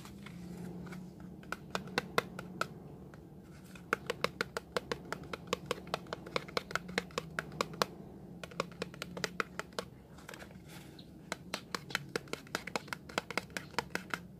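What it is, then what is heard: Cardboard soap box. A small closed cardboard box of Lervia milk soap, with the bar presumably inside, is held in both hands over a green basin of water and turned over. Fingernails and fingertips tap and scratch it in quick, dry clicks that come in bursts over a soft scratchy rustle. Each click is sharp and bright and dies away at once.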